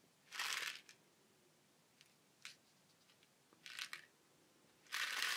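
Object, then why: Woven fibre basket shaker with wooden base. A small cone-shaped shaker of colourful woven fibre with a flat wooden base is held in the hands, turned and shaken so the contents inside rustle. Bursts of bright, gritty rattling swell and fade between quiet gaps, with a few short ticks in between.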